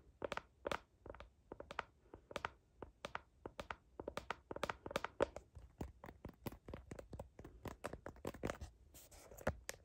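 Long nails scratch quickly back and forth across the back of a phone in a blue heart-patterned plastic case, near the camera. The result is a rapid, steady series of short, dry, bright scraping strokes with almost no ring.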